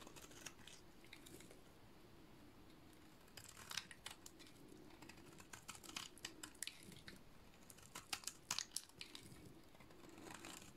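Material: Soap.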